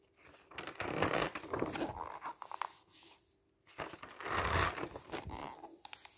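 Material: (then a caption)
Paper. A hand slowly lifts and turns single pages of a glossy paper camping guide lying open on a table, rubbing the paper as it goes. Two bursts of crisp, papery rustling and soft crinkles, each with brief bright ticks, are separated by a short quiet pause near the middle.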